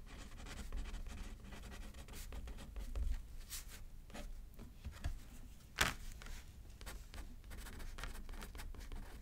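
A pen is used left-handed to write on a thin paper card resting on a paper pad. Quiet, dry scratching strokes come in short bursts over a low, steady rumble, with one sharper, brighter scratch near the six-second mark.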